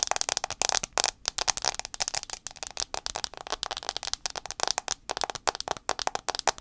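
Fast fingernail tapping on the front glass screen of an iPhone 6s produces a rapid run of sharp, dry clicks. Each tap is bright and crisp, with almost no low end and no ring after it.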